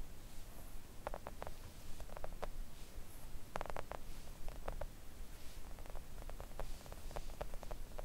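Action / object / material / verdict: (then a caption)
tap / silicone nail art mat tapped with acrylic nails / silicone / none. Long acrylic nails on both hands gently tap a thin, solid, flat pink silicone nail art mat resting on a table. The result is a scattered run of short, soft clicks, some in quick clusters, that die away almost instantly over a steady low rumble.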